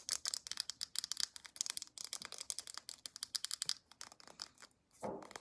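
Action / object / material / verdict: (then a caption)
tap / plastic lotion tube / plastic / none. Long acrylic nails tap and scratch the round flip cap and body of a white plastic lotion tube. A fast run of many crisp, bright clicks and scratches sits almost entirely in the high range with no low end, ending in a short gap and a softer rustling burst.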